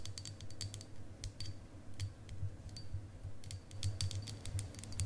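A long, solid clear quartz crystal point, held horizontally, is tapped and scratched along its facets with long acrylic nails. Quick, irregular clicks and bright taps, some with a faint high ring, come in clusters over a steady low hum.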